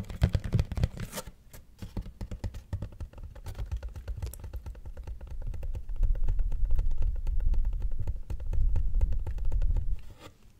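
An empty white corrugated cardboard box with a torn corner showing the corrugation is held close to the mic and scratched and tapped with fingertips and nails. Rapid, irregular dry taps and scratching rustle run throughout, with a deep, hollow low thump under each tap. The sound grows fuller and louder in the second half before fading out at the end.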